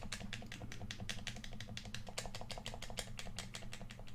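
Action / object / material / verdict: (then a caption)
tap / hollow plastic game controller / plastic / none. A hand-sized, hollow red plastic PS4 controller is held in both hands while fingertips and thumbs tap and click on it. The result is a quick, steady stream of sharp, bright plastic clicks over a constant low hum.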